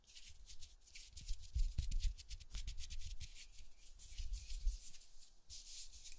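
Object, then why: Foam microphone windscreen. Fingertips rub and brush the surface of a large black foam windscreen on a studio condenser microphone. The result is soft, scratchy brushing with a bright, airy hiss over low, muffled thumps and rumble. The sound keeps changing in irregular strokes.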